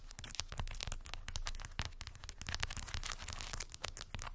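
Long white acrylic nails tap and scratch over a small rectangular cork board densely covered with solid, round, unfinished wooden beads. A rapid, steady stream of dry, bright clicks and crackly scratching runs throughout, with each tap dying away almost instantly over a soft low thump.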